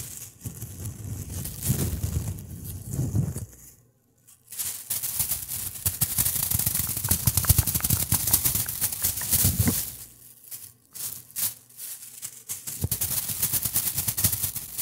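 A thin, empty white plastic bag is crumpled and rubbed with fingertips close to the microphone, making dense, crackling rustles with a low, soft rumble beneath bright, high crinkles. The rustling comes in bursts, with a brief silence just before 4 seconds and choppier, broken-up handling from about 10 to 12 seconds.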